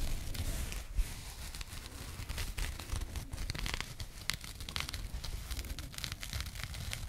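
A small burlap jute pouch with a printed label, held in both hands, is scratched with long nails. The result is a steady stream of dry, rasping scratches and crinkly rustles with bright fibrous crackle over a low rumble. A few sharper clicks stand out, one near the start and one past the middle.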